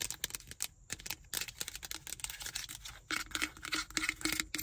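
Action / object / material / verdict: tap / plastic car ashtray cup / plastic / none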